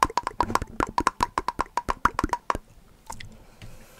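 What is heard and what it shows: A small, full glass jar of chestnut spread with a metal lid is tapped on its lid and sides with fingertips and nails, giving about 20 quick, dry clicks with a short, woody ring near 1 kHz. After the tapping stops, a few faint, soft rustling sounds follow.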